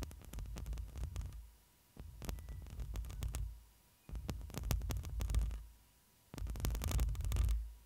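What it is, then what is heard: Metal mesh microphone grille being scratched. A hand with long nails scratches and rubs the hollow metal mesh grille of a black microphone. It comes in four bursts separated by short quiet gaps, each a deep, muffled rumble and thumping laced with sharp, crackly clicks that reach into the highs.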